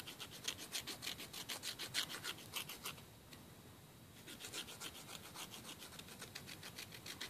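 A long, thin, solid emery board nail file is rubbed quickly across the fingernails of the other hand over a wooden table, making rapid, bright rasping filing strokes. The strokes run in a quick, fairly steady rhythm, pause briefly around the middle of the clip, then resume at the same pace until the end.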